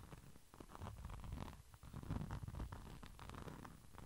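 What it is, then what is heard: Glitter pouch being scratched. A small, flat red pouch with a glitter-coated surface is held beside the microphone and scratched and tapped with the fingertips. The result is a quiet, continuous, dense rustling scratch with soft, dull taps, weighted toward the low end, with no ringing after each touch.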